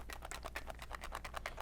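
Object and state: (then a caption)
Underfilled paintball pod, balls rattling. A freshly filled plastic paintball pod is held up to the ear and shaken in its first shake test, producing a rapid series of short, light clicking rattles over a steady low hum. The rattling shows the pod is underfilled, with space between the paintballs, so it needs one or two more paintballs to keep them from rattling and possibly breaking while running or during gameplay.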